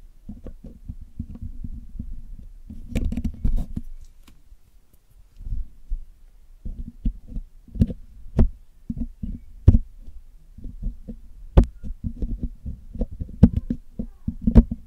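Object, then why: Metal mesh microphone grille picked with metal tools. A metal needle pick and metal tweezers pick at the hollow black metal mesh grille of a Blue Yeti microphone while cleaning it. The result is a close, dull series of low thumps, scratches and taps, with occasional sharp, bright clicks. The sounds come in bursts separated by short quiet gaps.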